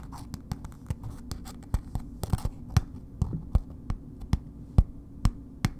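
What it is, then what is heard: Paper-wrapped bar soap. A solid bar of soap in a red paper wrapper is scratched and tapped with long nails. Sharp, short taps with a dull low thud repeat at an uneven pace, while soft papery scratching fills the gaps between them.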